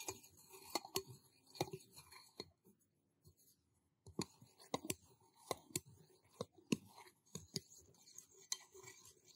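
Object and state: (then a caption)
Stainless steel cup. A small, empty, hollow stainless steel cup is held in one hand while fingertips tap and scratch its outside and a thin stick taps inside it. Sharp, bright metallic taps with very short ring are mixed with soft scratching, with a near-silent pause around the middle before the tapping resumes.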